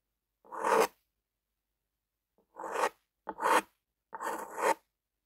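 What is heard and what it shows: A lime-green plastic ballpoint pen with a metal tip scratches and rubs across a flat white paper sheet. It makes four separate rasping strokes in the mids, each about half a second long, with short silences between them.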